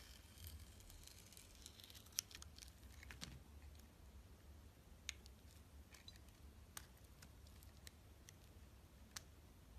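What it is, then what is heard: Soap bar being scraped. A box-cutter blade slices and scrapes the purple glitter coating off a solid, palm-sized oblong bar of soap with a translucent orange interior, held in the hand, while other soaps lie untouched nearby. Soft, bright scraping and crackling runs throughout, broken by a few sharp, quick clicks as the blade cuts. A steady low hum sits underneath.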